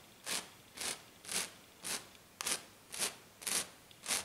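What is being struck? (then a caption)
Glitter-coated sheet scratched with fingernails. Long black nails on both hands scratch across a flat, silver glitter-coated sheet, making nine bright, raspy scraping strokes about every half second. Each stroke is a short hissing crackle that quickly dies away, with almost no low end.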